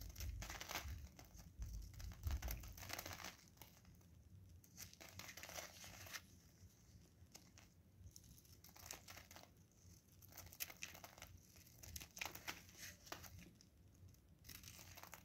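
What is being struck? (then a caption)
Bar of soap. A solid blue bar of soap held in gloved hands is scraped and shaved again and again with a craft knife blade. The result is irregular bursts of dry, crinkly scratching with a bright, high hiss, over a soft low rumble, with quieter gaps between the strokes.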